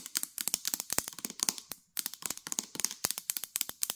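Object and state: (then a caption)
Plastic mayonnaise jar. Long nails rapidly tap the molded plastic bottom of a full plastic mayonnaise jar and scratch its paper label, making about 25 sharp, bright clicks with a dry, crinkly scratching between them. The taps stop for a moment just before two seconds, then resume at the same quick pace.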